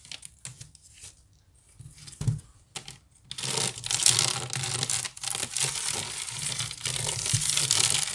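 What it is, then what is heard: Wicker basket being scratched. Long nails scratch the weave of a large, hollow woven wicker basket. A few sparse, bright scratches and a low thump give way after about three seconds to fast, continuous raspy scratching. The scratching stays dense and high-pitched to the end, with a faint low body resonance underneath.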